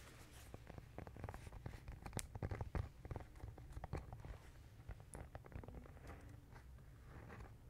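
A black-and-white marbled composition notebook with a hard cardboard cover and paper pages inside is held up in one hand and tapped and scratched on the cover with fingertips and nails. Quiet, irregular, dull taps with short, low-heavy thuds mix with soft scratching, and a few louder taps stand out in the middle.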